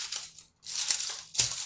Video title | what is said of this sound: TAROT SÍ O NO⭐️🧛‍♂️PREGUNTA lo que quieras🌹♥️ LECTURA INTERACTIVA 🔮 #tarotinteractivo | Elas parecem fazer um som de plástico em cima. Mas elas são reais